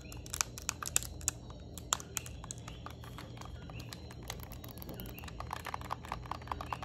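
Long nails tap a yellow Nintendo Switch Lite plastic handheld game console, first across the front screen side and then along the top edge with its vents. Many quick, sharp, bright clicks with almost no ring come in irregular bursts over a steady low background hum, with faint high tonal chirping in the background.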